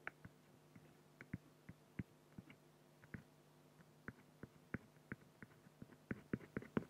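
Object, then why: Pen on an acrylic sheet. A black fine-liner pen scratches hatching strokes on the head drawn on a large, flat, solid acrylic sheet. About 18 short, dry, separate scratching ticks are heard, growing denser and louder toward the end. They sit over a faint, steady low hum near 200 Hz.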